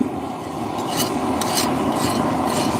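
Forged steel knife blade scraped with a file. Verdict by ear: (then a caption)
Hardened. A file is scraped across a heat-treated, forged steel knife blade to check its hardness. It gives a steady rasping scrape with a high-pitched ring and bright streaks of sound. The high-pitched tone shows the blade is hardened enough for its purpose.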